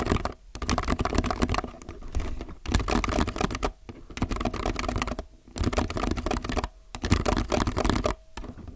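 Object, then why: Plastic mechanical keyboard. Fingertips type on a low-profile mechanical keyboard with white, grey, navy, red and yellow plastic keycaps, resting on a white desk between two microphones. Bursts of rapid, dry clacking alternate with brief pauses, each keystroke short and deep-bodied with little ring.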